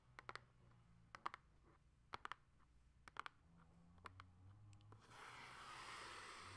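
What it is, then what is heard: Cardboard console box. Long acrylic nails tap on the top and sides of a closed Nintendo Switch Lite retail box, a small, hollow cardboard box. Sharp, dry clicks come in quick clusters of two to four over a quiet background. Near the end, the taps give way to a steady, soft, broadband rustling hiss.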